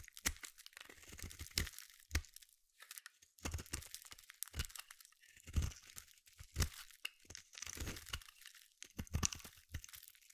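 A small metal blade scrapes and carves flakes off the edge of a palm-sized solid blue bar of soap. The clip is a series of crisp, crunchy scraping strokes with bright, tearing hiss and soft low thumps. Each stroke stops dry with no ring between cuts.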